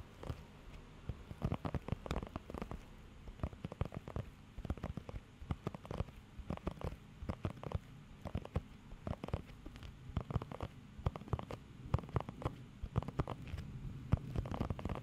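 Fingertips and nails scratch and tap across a blue rubber pet hair grooming glove covered in nubs. The result is a steady stream of quick, dull crackling scratches and soft patters, mostly low and muffled with very little brightness, each one stopping almost instantly.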